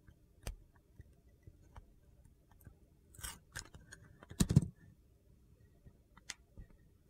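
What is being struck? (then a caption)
Bar of soap scraped with a metal knife blade. A metal utility knife blade carves and scrapes along the edge and lettering of a solid teal Dial bar soap held in hand. Quiet, sparse crunchy clicks and short gritty scrapes sound throughout, with a louder cluster of scrapes about two-thirds of the way in before the sound settles back to soft, scattered ticks.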